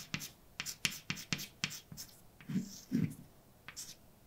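A hand writes words with a white chalk stick on a large, flat, dark painted blackboard. Quick, bright scratching and tapping strokes come in a short series, with a pair of softer, lower-toned rubs in the middle.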